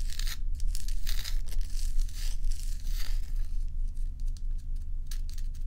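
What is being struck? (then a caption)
Block of ice. Long acrylic nails scratch and tap a large solid ice dome block up close. Bright, scratchy rasping bursts come and go irregularly over a steady low hum.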